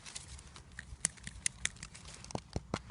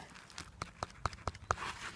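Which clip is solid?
The second.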